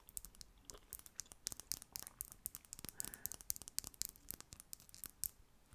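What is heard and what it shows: A slim, small, hollow plastic concealer tube with a mint-green cap and a printed label is held in one hand and tapped with long manicured nails. About thirty quick, dry, bright clicks follow one another in an irregular, typing-like patter. Each click dies away at once, with almost no low end.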